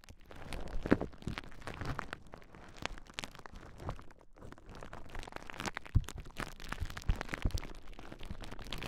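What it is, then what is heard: Plastic bubble wrap being popped. A large clear plastic bubble wrap sheet is held across the microphones while fingertips and nails press and pop its bubbles. Soft crinkling and rustling run throughout, broken by sharp, short pops and crackles. The sound is mostly low and dull, with a few louder snaps standing out.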